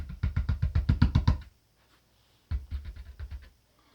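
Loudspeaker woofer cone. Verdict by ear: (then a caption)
Stiff. Knuckle knocks on the thick cone of a Cerwin-Vega DX9 loudspeaker woofer, whose cone is thicker than the AT's, so its stiffness comes from that thickness rather than ribs. Two bursts of rapid knocks sound as dull, low thumps around 74 Hz that die away almost instantly. The result is a deep, short response, as expected from a thick, stiff woofer cone.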